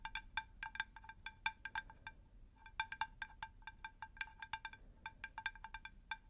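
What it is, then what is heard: Terracotta plant saucer. Long pink nails tap a round, shallow, unglazed terracotta plant saucer in quick, uneven bursts. Each tap gives a short, bright, bell-like clink centered near 890 Hz with ringing high overtones that fade almost at once. Dozens of these light taps follow over a faint low background hiss.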